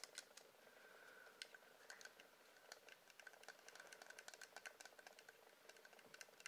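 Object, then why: Wax candle. Light ASMR tapping on a wax candle produces a quick, irregular stream of short, dry clicks over 6.5 seconds. The taps are quiet and bright with almost no low end, above a faint steady tone near 1.5 kHz.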